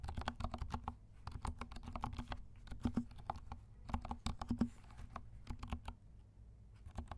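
Fingertips of both hands type on a compact black mechanical keyboard with silent switches and black and pink plastic keycaps. The result is a stream of soft, dull, low clacks in an uneven rhythm, with short pauses between bursts. Each keystroke dies away almost at once.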